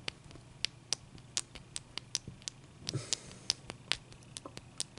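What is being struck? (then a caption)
Ice cube. Long dark-painted nails tap and scratch a large, clear, solid ice cube resting on a towel. About seventeen sharp, bright clicks ring out with almost no ring, and a short, hissy scratching swell comes in around the middle.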